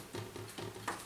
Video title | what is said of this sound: Antique Clock Restoration - The Complete Job - Part 1, what does it need? | when you're tapping them you can hear the sort of vibration when there's a loss of glue